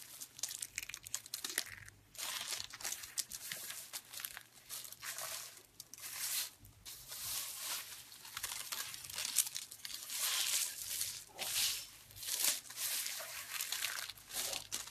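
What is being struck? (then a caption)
Soap shavings. Brittle, dried pink soap curls are scooped up and crushed with the hands and fingertips. Dense, crisp crunching and crinkling come in bright bursts separated by brief quiet gaps, with no low rumble underneath.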